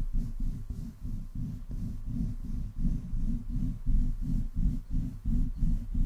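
Palms and fingertips of both hands, with long painted nails, slide over the rounded metal mesh grille of a black USB condenser microphone with a metal body and hollow capsule head. The rubbing makes a steady run of deep, muffled, rumbling swishes, about three per second, almost all low in pitch with nothing bright above.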